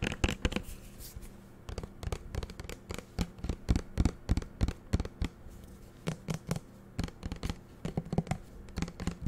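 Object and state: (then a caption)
Plastic bottle tapped and scratched with fingernails. Fingernails tap and scratch a small green plastic shower gel bottle with a black cap. The taps come in quick, irregular bursts, each short, dry and clicky with almost no ring, separated by quieter scratching.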